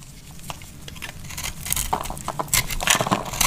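A solid, oval, pink and blue marbled bar of dry soap is held in the hand and carved with a metal utility knife blade. Quick, irregular crackly scrapes and cuts start faint and grow louder and brighter, each one short and dry with a high, crisp edge.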